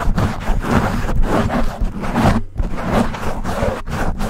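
Fingertips and short nails of both hands scratch and rub fast and hard on a black foam windscreen covering a silver desktop microphone. The result is a loud, continuous, muffled scraping and rustling heavy in low rumble, with brief near-silent breaks where the hands lift off.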